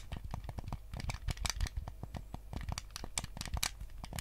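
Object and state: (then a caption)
Plastic game controller. Fingertips and nails scratch and tap the back and sides of a white plastic GameCube controller with a hollow shell. Quick, dense, dry taps and scratchy rubbing come in an uneven stream, each with a low hollow thump and a bright crackly edge. There is no ringing tail.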